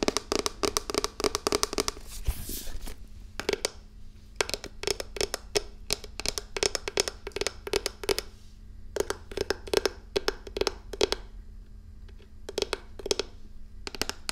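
A closed, medium-size wooden folding chess set case with a checkered top, hollow and holding the pieces, is held upright in the hands and tapped with fingertips and nails. Quick bursts of crisp, hollow wooden taps with bright nail clicks come in fast runs separated by short pauses. Each tap dies almost instantly, with a woody tone around 410 Hz over a faint steady low hum.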